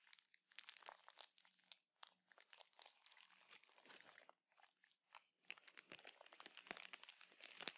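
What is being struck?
Plastic bag of cotton pads.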